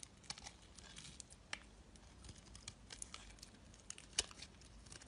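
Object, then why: Bar of soap shaved with a metal blade. A solid, rectangular, pale bar of soap is held in the hand and shaved with a metal blade, with curls peeling off. The result is a quiet, bright, crisp scraping with a steady crackle and scattered sharp ticks, mostly high in tone with little low end.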